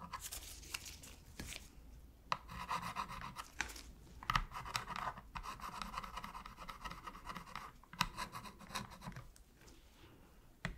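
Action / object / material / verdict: scrape / plastic game controller / plastic / none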